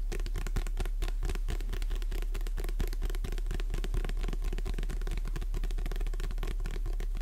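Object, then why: Paperback book cover. Long nails tap and scratch the cover of a Jurassic Park paperback held in both hands. Quick, dense, irregular taps and scrapes run continuously at an even level over a steady low hum.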